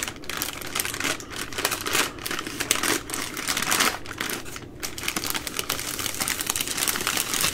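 A plastic-wrapped baby wipes multipack, a bundle of three full soft plastic wipe packs, is held in the hands while long nails tap and squeeze the crinkly plastic. The result is a steady stream of dense, rapid crackles and sharp ticking taps, bright and high with little low end, rising and falling in loudness without stopping.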